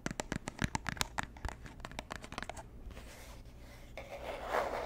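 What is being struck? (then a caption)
Small cardboard gift box. Long nails tap rapidly on the lid and sides of a small, hollow, robin's-egg-blue Tiffany & Co. cardboard gift box as it is turned in the hands, making about 17 quick, dry, hollow clicks over the first three seconds. The tapping then gives way to a soft, steady scratching across the cardboard that grows louder and brighter toward the end.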